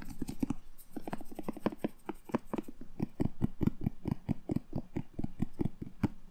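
A whole red bell pepper, hollow with a glossy, firm skin, is held in the hand and tapped and rubbed with fingertips and short nails. It makes a rapid, uneven run of short, dry taps with a low, hollow thump, each dying away almost at once, and faint scratchy rubbing between them.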